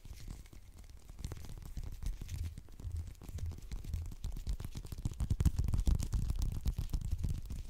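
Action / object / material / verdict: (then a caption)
scrape / whole orange / citrus peel / none. Fingernails rapidly scratch and tap the peel of a whole, solid orange held in the fingertips. The result is a fast, aggressive stream of dull, low-heavy taps mixed with a dry, scratchy crackle. It grows somewhat louder toward the end.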